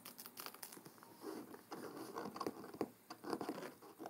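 Fingertips and short nails tap and scratch the front cover and edge of a large, thick, solid hardcover book with a dark blue cloth cover, lying closed on a wooden table. Quiet, dry patter of soft taps mixes with scratchy rustling, centered in the low-mid range with almost no bass, and each tap dies away almost instantly.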